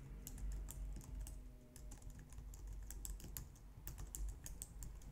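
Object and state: Plastic computer keyboard.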